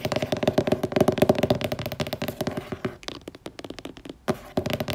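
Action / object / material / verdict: tap / laminated cardboard hardcover book / cardboard / none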